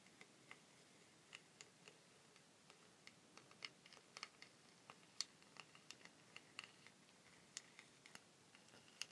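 Long pink fingernails tap and scratch along a long, hollow wooden rainstick with a rough, weathered surface. About 24 crisp, bright ticks sound over quiet scratching, each clicking short and dry with almost no ring.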